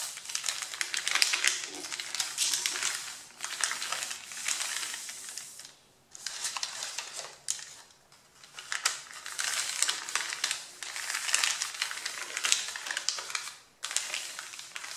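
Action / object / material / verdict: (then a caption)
scrape / stack of printer paper sheets / paper / none. Fingertips and nails rub, press and crinkle the top sheet of a thick stack of A4 printer paper with line drawings, resting on a wooden table. Bright, dense scratching and crinkling comes in bursts with brief quieter gaps between them, and there is almost no low end.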